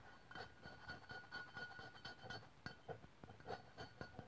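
Long pink-white press-on nails on both hands tap the lower body of an upright white aluminium aerosol deodorant spray can, a hollow metal can standing on a wooden table. The result is a quiet, irregular run of short, light metallic clicks, each with a brief bright ring that dies away almost at once.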